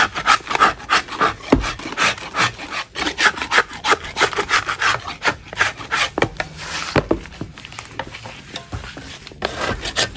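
A metal putty knife scrapes a solid chalk block held in a gloved hand. Quick, uneven strokes come about three per second, each giving a dry, gritty rasp with a bright edge. The scraping runs steadily through the whole clip with brief pauses between strokes.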